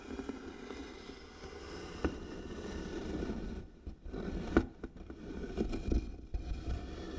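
Long nails scratch slowly over the engraved lid of a medium, light-colored wooden box that is likely hollow. The result is a steady, low, grainy scraping with a few sharp clicks where the nails catch on the carving. There is a brief quieter gap midway.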